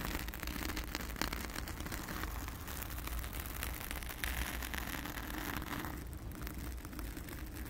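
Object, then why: Foam microphone windscreen. Long acrylic nails scratch and rub a round, soft, porous blue foam windscreen over a microphone, using both hands. The result is a steady, dense crackling rustle with a heavy low rumble underneath and a bright hiss on top, holding at an even level throughout.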